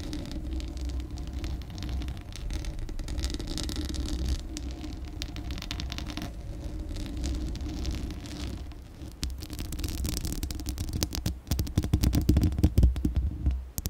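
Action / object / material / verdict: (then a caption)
scrape / metal mesh microphone grille / metal mesh / none. Long acrylic nails scratch the hollow metal mesh grille and body of a Blue Yeti microphone. The result is a dense, steady rasping with a deep, hollow low rumble underneath. Toward the end it turns into sharper, brighter crackling scrapes.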